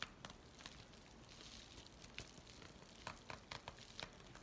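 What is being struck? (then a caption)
Paper mailing envelope. A white paper USPS mailing envelope is stretched and crinkled between both hands while fingertips rub its surface. The result is a steady, quiet papery rustle broken by many brief, bright crackles and sharp snaps.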